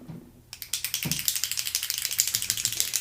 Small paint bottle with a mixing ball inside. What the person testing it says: if it's been sitting a while and you don't hear that little clicketity clack when you're shaking it, you can smack it against the table or something to loosen it up